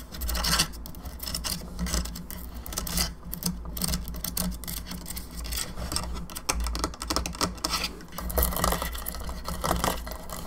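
Long fingernails tap rapidly on the sides and jaw of a hollow plastic skull candelabra lamp, producing a dense run of quick, dry, bright clicks with brief scratchy rubs. A steady low hum runs underneath throughout.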